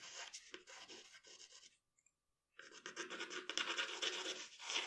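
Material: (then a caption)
Paper. The graphite tip of a wooden pencil scratches across a flat sheet of drawing paper lying on a dark table while details of a portrait are drawn. Bright, dry scratching strokes come in quick uneven bursts, stop for a brief silence, then return denser and louder.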